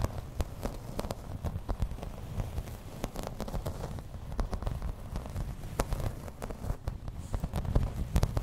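Long red nails tap and scratch in place on a thin, solid, grey embossed plastic placemat. A steady run of quick, dry taps and rough scratching crackles along, with a low rumbly body and short sharp clicks that die away instantly.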